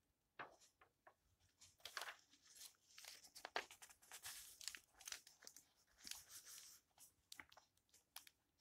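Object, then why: Old paper book. Fingers turn and rustle the yellowed paper pages of a thick old open book. Quiet, crisp, bright paper rustles and crackles come in irregular bursts with no low end, each page flick dying away almost at once.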